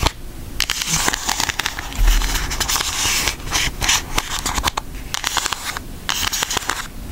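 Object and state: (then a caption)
Cardboard makeup palette. A flat, thin pink cardboard eyeshadow palette with an Aristocats design is held in both hands and scratched and tapped with long acrylic nails. The result is a steady, bright, crackly scratching broken by many sharp clicking taps, with a faint low rumble underneath.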